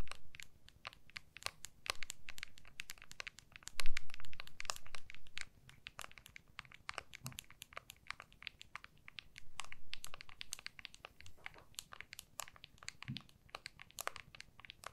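An iPhone in a clear plastic MagSafe case is held in both hands while long nails tap and scratch its plastic back and edges throughout. Dense, irregular, sharp clicks and bright scratches sit over a soft low rumble, with brief louder handling swells around the 4-second and 10-second marks.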